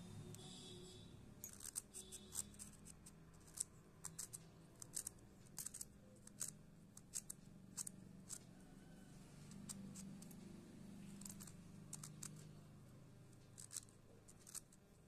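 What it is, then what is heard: Wet chalk stick being scraped. A short, solid white stick of wet school chalk, held in the fingers over a pile of chalk powder on a dark surface, is scraped repeatedly along its length with a metal blade, a scissor or knife edge. Many quick, bright, crisp scraping clicks sound over a steady low hum. The scraping leaves ridges and flakes of chalk.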